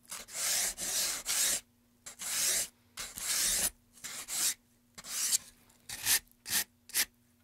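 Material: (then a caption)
Pine wood. A gloved hand rubs sandpaper back and forth inside the carved channel of a solid, light-wood carved pine tray. About eleven separate bright, high, hissy rasping strokes of uneven length come in an irregular rhythm, with short silences between them and almost no low end.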